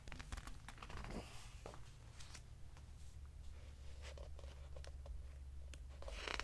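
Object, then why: Hardcover book with glossy paper pages. A hand rubs and turns the glossy paper pages of a large open hardcover book, making soft, crisp rustles and sharp papery flicks with bright edges. A steady low hum runs underneath throughout, and the page sounds swell into a louder rustling sweep at the end.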